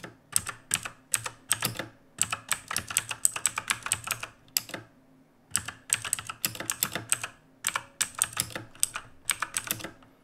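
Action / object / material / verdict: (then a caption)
tap / mechanical keyboard with plastic keycaps / plastic / none. Both hands type rapidly with fingertips on a black backlit mechanical keyboard with plastic keycaps, resting on a wooden desk. The result is a dense stream of sharp, bright clacks with a high ring on the key strikes, a faint low thud beneath, and a brief pause midway before the typing resumes.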